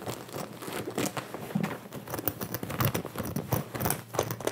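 Both hands scratch and rub the soft fabric on the chest of a Sherpa-collared blue denim jacket being worn on the body, using fingertips and nails, with a white earphone mic cable hanging nearby. Close, dry scratching and crinkly rubbing come in quick, uneven bursts that rise and fall without pause, each stroke dying away almost at once.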